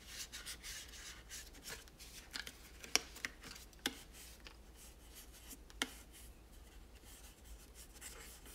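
A cloth held in fingers wipes and rubs a hollow plastic toy tower, making a soft, bright, scratchy rubbing that rises and falls unevenly. A few sharp, brief plastic clicks stand out above the rubbing, over a faint steady low hum.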